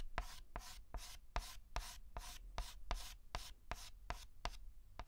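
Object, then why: Chalk stick on a blackboard. A white chalk stick is stroked across a large flat blackboard in 13 quick, evenly spaced strokes. Each one starts with a sharp tap and trails into a bright, dry scratch. A low rumble sits steadily underneath.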